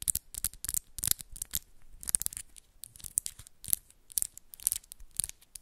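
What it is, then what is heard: Acrylic nails clicking and scratching. Long pink and black acrylic press-on nails are pinched together at the tips of both hands, clicking and scratching against each other. The result is rapid bursts of quiet, dry, bright clicks and scratchy rasps that stop instantly with no ring.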